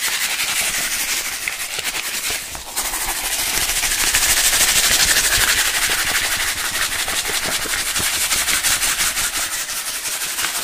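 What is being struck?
Plastic bottle with liquid and sand.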